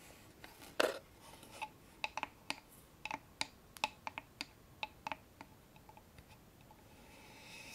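Long manicured nails tap on the front face of a small hollow wooden box with a dark stained finish and a metal latch, held up in the hand. Sixteen short, dry clicks with a bright, hollow tone ring out over faint background hiss after an opening scrape.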